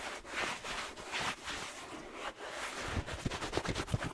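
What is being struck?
Suede slipper shoe with rubber sole.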